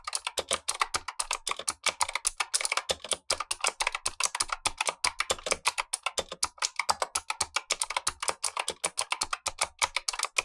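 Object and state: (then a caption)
Mechanical keyboard with clicky switches. Gloved fingertips type continuously on a black tenkeyless Razer Huntsman V2 mechanical keyboard with clicky switches and plastic keycaps, while a second keyboard above it sits idle. A rapid, steady stream of sharp, bright clicks with very short decay carries almost no low end, each keystroke snapping crisply against the next.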